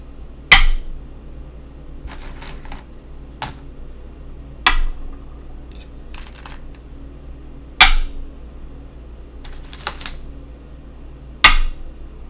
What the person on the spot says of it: Go Board Sounds